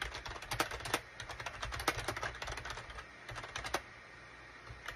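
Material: Plastic.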